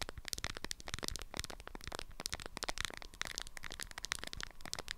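Long acrylic nails tap and scratch a small rectangular item wrapped in a lemon-print beeswax-coated fabric, held in both hands. A rapid stream of crisp, crackly taps and papery scratches sounds with bright highs and dry, short hits that stop without ringing.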